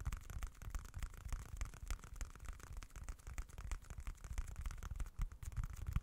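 A small, dark, folded leather-look wallet is held close to the mic and scratched and tapped with fingertips. A steady run of soft, dry, bassy thumps mixes with faint, bright scratching rustles, each tap dying away almost at once.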